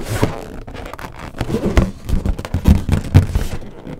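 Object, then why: Inflated latex balloon. A large, hollow, air-filled green latex balloon is knocked and tapped with long nails, then pressed and squeezed with the hands. The result is a run of dull, low, boomy thumps that die away quickly, with soft rubbery rustling and squeaks between them.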